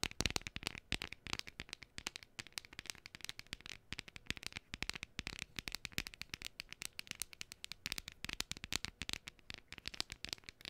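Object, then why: Thin cardstock cutout. A flat, hand-sized printed cardstock gnome decoration, thin and solid, is held close and tapped and scratched with long painted fingernails. It makes a quick, steady stream of dry, bright clicks and scratchy rustles with almost no ring. The sound stays soft and crisp throughout.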